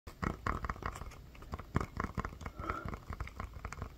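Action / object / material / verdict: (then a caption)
tap / inflated rubber ball / rubber / none. A medium hollow inflated rubber playground ball with a SpongeBob print is held in one hand and tapped and scratched with the fingertips and nails of the other. Dull, low, hollow thumps come in quick, uneven bursts, each dying away almost at once, with soft scratching in between.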